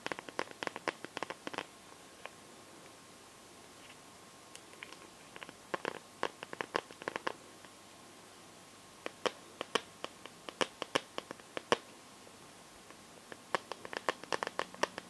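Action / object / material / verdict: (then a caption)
tap / plastic glitter liquid phone case / plastic / none. Painted nails scratch and tap the back of a phone in a clear plastic glitter liquid case, making bursts of quick, dry clicks with a bright edge and almost no low end. The taps come in irregular clusters separated by quiet gaps, each one stopping short with no ring.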